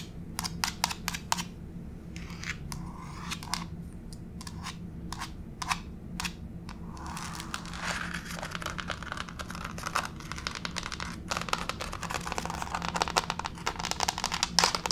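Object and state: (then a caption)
Laminate floor tapped with fingernails. Long pink fake nails tap and scratch across a solid grey wood-grain laminate floor. Sharp, bright clicks come in quick bursts at first, then give way to a dense, crackling scurry of scratches and taps from about seven seconds on, over a steady low hum.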